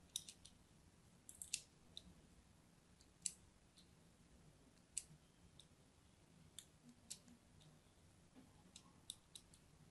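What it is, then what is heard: Soap bar being scored with a blade. A solid purple-and-white striped soap bar held in the hand is crosshatch-scored with a thin blade, scratching and cutting into the surface. About fifteen sharp, bright, scratchy clicks come at irregular intervals over a quiet, low background hiss, each stopping dead with no ring.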